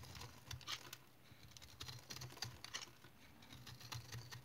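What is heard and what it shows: A solid, hand-sized, stone-like remnant of dried household soap with a speckled crust is held in the hand and shaved with a utility knife blade into crumbly flakes. The result is a quiet, irregular patter of short, dry scraping and crackling cuts with bright, crisp edges over a faint low hum.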